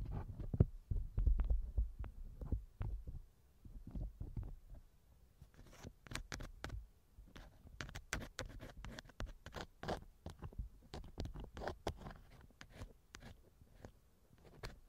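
A thin wooden earpick scratches inside the left ear canal of a small, hollow silicone ear model on a binaural microphone. It makes soft, irregular scraping and tapping sounds that are mostly low and muffled, with occasional sharp, bright clicks. The scratching is denser and louder in the first few seconds, then settles into quieter, scattered rubbing.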